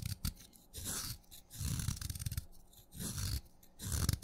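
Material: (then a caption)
Chalk. A craft knife blade scrapes and shaves curls from the surface of a solid wet purple chalk stick. Low, gritty scraping strokes come in repeated bursts, each carrying a bright, hissy shaving texture on top of a soft low rumble, with brief quiet gaps between passes.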